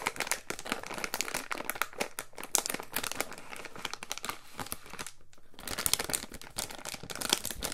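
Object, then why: Clear plastic zip bag. A small clear plastic resealable zip bag holding a coiled white cable is held, squeezed and rubbed with fingertips. It gives off a steady run of bright, sharp crinkles. A brief quieter lull comes just past the five-second mark before the crinkling picks up again.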